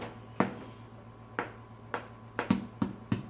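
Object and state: Baked bread loaf sounding hollow (done).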